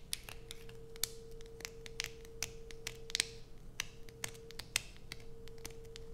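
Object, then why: Soap bar. Long white nails scratch the carved surface of a solid blue soap bar held in the hands, making a quick series of sharp, dry clicks and scrapes with bright, crisp highs. A steady faint hum runs underneath the whole clip.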